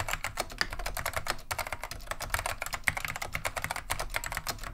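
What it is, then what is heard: Vintage mechanical keyboard being typed on. Continuous fingertip typing with both hands on a beige plastic vintage Wang 725 mechanical keyboard fitted with Alps SKCM lime switches. The rapid, overlapping keystrokes give a dense stream of short, bright clacks over a soft low thud, each dying away almost instantly.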